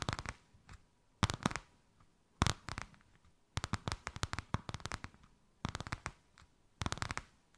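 A white crocodile-embossed faux leather sheet draped over a hand is tapped and scratched with long nails. Quick bursts of dry, sharp clicks and scratchy rustles come in separate clusters with short quiet gaps between them.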